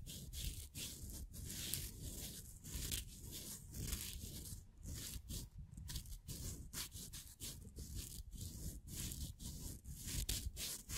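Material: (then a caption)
Plywood. A small, thin, solid laser-cut plywood figure made of layered pieces is held between thumb and fingers while the fingers rub and flex the thin wooden layers. This produces a steady, close, dry rustling and scraping texture with quick crackly clicks, heavy in the low end with a bright, hissy top. The sound continues without pause, with small dips and rises in loudness throughout.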